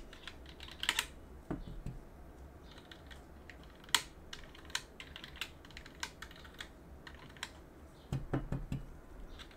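A gloved hand rubs and scratches between the exposed switches of a plastic and aluminum mechanical keyboard with a cotton swab on a wooden stick, working around removed keycaps and the aluminum plate. Soft, steady scraping is broken by a series of brief, bright plastic clicks and ticks that die away almost instantly. A few duller, fuller knocks come near the end.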